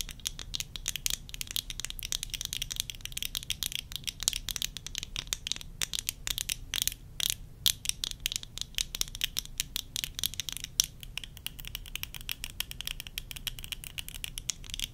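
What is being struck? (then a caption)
Plastic eyeglass frames and lenses. Long nails tap rapidly on worn plastic tortoiseshell eyeglasses, first on the lenses and rims, then along the temple arms. The result is a dense, continuous stream of quick, bright, dry clicks and ticks with almost no ring, over a faint steady low rumble.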